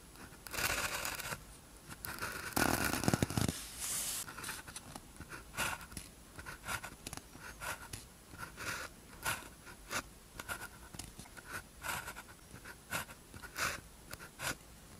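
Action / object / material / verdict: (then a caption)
scrape / ballpoint pen on thin paper sheet / paper / none. A blue ballpoint pen tip scratches across a thin white paper practice sheet with a red grid lying flat, writing characters. Louder, longer scratchy rustling passes open the clip, then give way to a steady run of short, dry, bright pen strokes separated by brief pauses.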